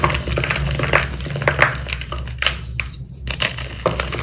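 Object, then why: Gym chalk block with dried corn starch crust. Bare fingers and palms break crust sheets off a pale purple dyed gym chalk (magnesium carbonate) block topped with a dried corn starch paste crust, then crush and crumble the solid, brittle chunks into powder in a white bowl. Dense, dry crunching and crackling snaps with bright crumbly detail play over a steady low hum, leaving chunks and powder.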